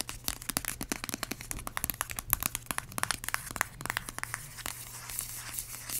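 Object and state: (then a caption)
Plastic hand cream tube tapped and scratched. A small, filled yellow plastic squeeze tube of vanilla hand cream with a white cap is tapped and scratched with long acrylic nails. Rapid, sharp plastic clicks and taps come with bright scratchy crinkling over a faint steady low hum. The sound stays quiet throughout.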